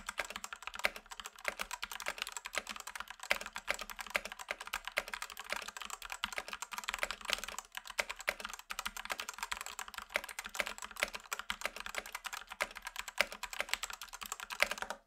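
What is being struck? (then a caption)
Plastic mechanical keyboard. A black Rexus Daiva 65% 68-key south-facing gaming mechanical keyboard, with a plastic case and plastic keycaps, is typed on with the fingertips of both hands. A steady, rapid stream of short, bright clacks continues for about fifteen seconds, each keystroke dying away almost instantly, with little low-end body.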